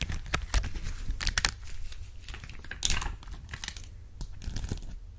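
A clear plastic sheet of heart-shaped acrylic gem stickers, held up close, is tapped and scratched over the gems with long acrylic nails. Sharp, bright clicks and crinkly scratching come in irregular bursts over a faint low rumble, each tap dying out almost instantly.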